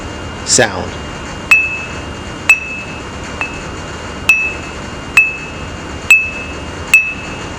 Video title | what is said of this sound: Bench Grinder: Wheel Types (blotter identification), Ring Test, Reinstall | give it a light tap on several places around the wheel and you should hear a nice clear uninterrupted sound